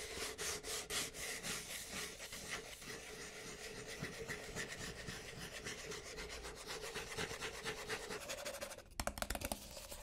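Fingertips and nails rub and scratch the wall of a hollow white Starbucks paper cup with a white plastic lid, held close to the mic. The result is a fast, continuous run of bright, broadband scraping strokes with a faint tone near 600 Hz. Near the end, a few sharper, louder scratches stand out.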